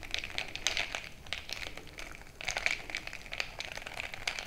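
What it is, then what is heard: Glass jar mug filled with crushed ice. A bamboo stick is jabbed up and down into a frosted glass mason-jar mug full of crushed ice. It makes a dense run of bright crunching and sharp clicks against the glass. The sound briefly dips near the middle, then picks back up.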